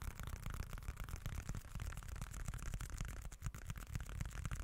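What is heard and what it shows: A small, dark, folded leather-look wallet, held in both hands, is scratched with the fingertips. It makes a dense, continuous scratchy rustle with a heavy low rumble underneath and quick, irregular scraping flicks throughout.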